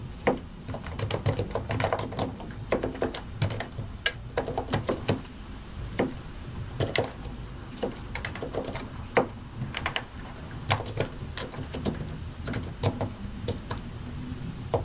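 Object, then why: Mechanical keyboard with plastic keycaps. A compact white and grey mechanical computer keyboard with a hollow plastic case and plastic keycaps is typed on with the fingertips of both hands. Irregular, sharp plastic clicks and clacks come at varying speeds over a low, steady background hum, with some brief pauses between bursts of keystrokes.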